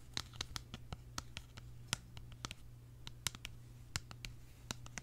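A small, hollow, purple hard-plastic case shaped like a tulip is tapped and scratched with long nails while held close to the mic. About twenty sharp, bright clicks and short scratches land at an uneven pace over a steady low hum near 120 Hz. Each tap dies away almost instantly.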